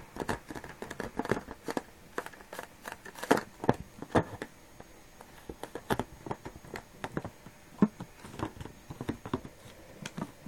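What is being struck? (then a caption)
Small latex rubber balloon. A small, filled red latex balloon with a neck ring is pressed and squeezed against a table by moist palms and fingers. It produces a quiet, irregular stream of short, dry rubbery squeaks and rubbing sounds, mostly in the mid range, with a few louder squeaks standing out.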